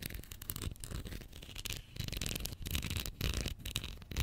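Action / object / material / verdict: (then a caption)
scrape / plastic glue stick tube / plastic / none. Long nails scratch and tap along the plastic body and label of a small Pritt glue stick, a capped plastic tube filled with glue, held horizontally above the mic. The result is a steady, close, dry rasping with quick soft taps, carrying a heavy low thump and a bright scratchy edge that stops dead with no ring.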